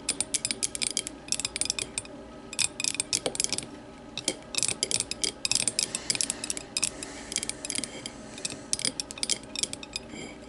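Long matte nails scratch and tap the sides of a small, empty, clear glass whiskey tumbler set upside down on a wooden table. Quick bursts of bright, dry clicks and ticks alternate with short pauses, with almost no low end and no lingering ring. The result is a crisp, rapid, ratchet-like tapping texture.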